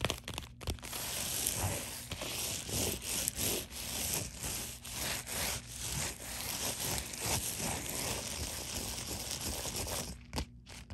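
Long nails scratch along the sealed edge of a thin, hollow white padded poly mailer, then across its bubbled face. The result is a steady, bright, papery rasping with repeated strokes, ending in a brief quieter pause.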